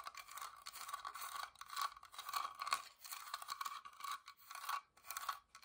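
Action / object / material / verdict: scrape / small carved wooden box / wood / none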